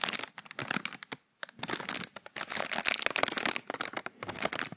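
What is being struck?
Thin plastic bag.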